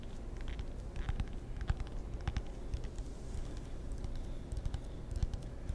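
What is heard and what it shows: Fingertips tap and scratch a table tennis paddle, a wooden blade with rubber faces. Quick, dry taps with a soft low thump mix with faint scratchy rustling, each tap dying away almost instantly.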